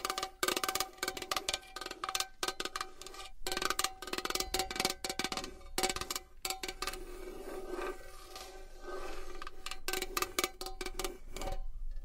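A small metal box is tapped and scratched with long nails for ASMR, giving rapid, dry, clicky metallic taps with a faint hollow ring around 370 Hz. The taps are interspersed with stretches of softer, continuous scratching, and each tap dies away almost instantly.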